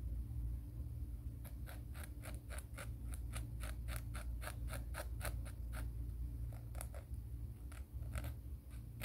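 Fingernails are filed against the grit of a black emery board nail file held upright in one hand. A rapid series of short, bright, scratchy rasping strokes repeats steadily over a constant low hum.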